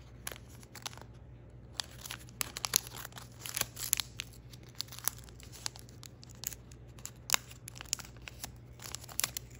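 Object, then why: Thin folded paper crane. An almost finished thin origami paper crane is held in the fingers while its points are bent and creased with the fingertips. This produces bright, dry paper crinkles and sharp crackling ticks in irregular bursts, over a steady low hum.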